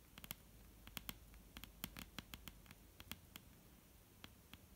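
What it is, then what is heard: Wooden table top tapped with fingernails. Long painted fingernails from both hands tap on a solid, dark brown wooden table top. The result is a quick, irregular run of sharp, bright clicks, each dying away almost instantly over a faint low background rumble.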